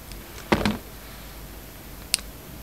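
A utility knife blade shaves and scrapes the surface of a hand-held solid soap bar with black and white stripes and a red edge. Two quick rasping scrapes close together are followed by a short, bright tick later on, over a quiet background.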